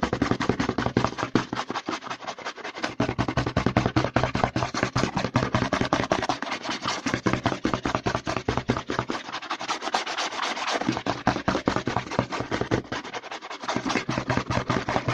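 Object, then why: Plastic lotion bottle. A white plastic CeraVe lotion bottle, held upside down, is rapidly scratched and tapped on its front and side with fingertips and short nails. The result is a fast, dense stream of crisp, bright clicks and scratchy rasps, with brief pauses in the low end.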